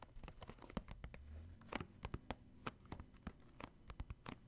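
Fingertips and short nails tap the top of a hollow, purple cardboard Puffs tissue box that is holding tissues. The result is a quick, uneven patter of dry, dull taps with a faint low hum underneath.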